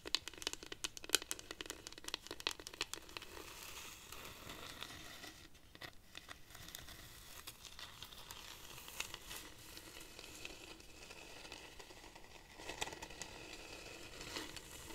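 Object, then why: Dried cactus wood rainstick. Long nails scratch and tap the textured wood of a hollow dried-cactus rainstick held upright. Sharp, bright crackling taps come thick and fast for the first few seconds, then settle into a softer, steady scratchy rustle. A short burst of tapping returns near the end.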